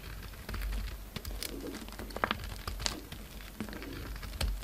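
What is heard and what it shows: A solid white bar of soap with a dark red coating is held in the fingers and carved and shaved with a utility-knife blade. Soft, crisp scraping and brief clicking cuts come in irregular bursts over a low, steady rumble. A few sharper, brighter snaps stand out near the middle and the end.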